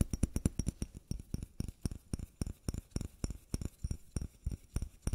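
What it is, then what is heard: Small bottle. A small white bottle is tapped with quick, uneven fingertip-style taps, some in rapid clusters and some spaced apart. Each tap is a short, dull knock with a deep low thud and a faint bright click, dying away almost instantly with no ring. There is no talking.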